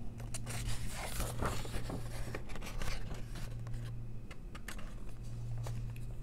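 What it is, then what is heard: Paper coloring book. Long press-on nails trace the printed text and line art of an open softcover adult coloring book and turn its paper pages. Dry, bright scratching and papery page-flip rustles come in quick bursts over a steady low hum.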